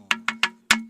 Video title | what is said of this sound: సప్త స్వరాలు పలికే రాళ్లు Vlog - ఇక్కడ ఒక హత్య కూడా జరిగిందంట -- హత్య అనవాలు ఉన్నాయి @RJPT_VENKEY | ఈ పాయింట్లలో కొడితే మాత్రము అదొక రకమైన ఒక సౌండ్ వస్తుంది సౌండ్ అయితే అదొక రకమైన సంగీతం లాగా వినిపిస్తుంది